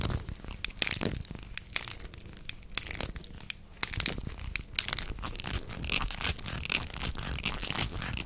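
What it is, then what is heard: Corrugated plastic tube. A beige hollow corrugated plastic tube is bent into an arc and twisted with both hands while fingertips rub along its ribbed surface. This produces dense, bright crinkling and crunching clicks over a soft rustle, with a few sharper snaps standing out.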